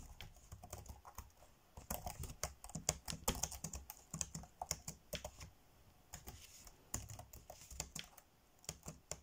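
Fingertips tap fast on the dark grey plastic chiclet keys of a laptop keyboard, typing. Rapid bursts of short, dry clicks with bright tops and soft low thumps underneath come in quick runs, with brief lulls near 1.5 and 6 seconds.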